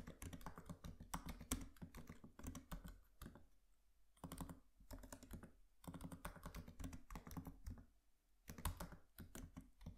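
Fingertips of both hands tap rapidly on the black plastic keys of a MacBook Pro laptop keyboard with an aluminium body. The typing comes in quick, soft, muffled clicks with a thuddy low end, in bursts broken by brief quiet pauses.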